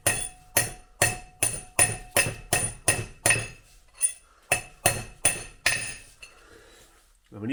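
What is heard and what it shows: A hammer gently taps a new steel front wheel bearing outer race into the hub of a 1971 VW Beetle, using the old race as a drift. Fifteen sharp, bright metallic taps ring briefly with a high ping, and their tone changes partway through as the race becomes fully seated, meaning that side is done.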